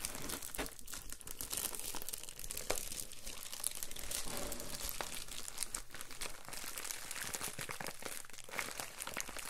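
A padded, letter-size Amazon Prime plastic poly bubble mailer is lifted and flexed in both hands, then rubbed and pressed flat with palms and fingertips. It gives a steady, dense crinkling with bright, crisp crackles over a soft low rustle throughout.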